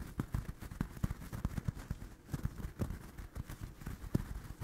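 Fingertips and nails scratch and tap the yarn surface of a small, soft, stuffed orange crocheted doll held close in front of a microphone. The sound is a quick, irregular run of dull, muffled taps over a soft scratchy rustle, mostly low in pitch with almost no bright content. Each tap dies away almost instantly.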